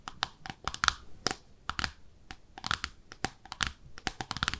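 Long nails tap the underside of a small pink speckled ceramic bathtub-shaped soap dish held in both hands. A rapid, irregular series of sharp, dry clicks follows, each with a bright ceramic tick near 1.4 kHz and high sparkle. Every tap dies away almost instantly.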